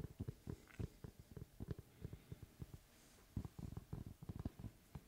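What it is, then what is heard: Wooden tree slice being tapped. Fingertips tap and knock on the flat face of a large, round, solid wood tree slice with a bark rim, held at the side. Quiet, dull, low thuds come in quick irregular clusters, each dying out almost at once, with a brief pause midway before the tapping resumes.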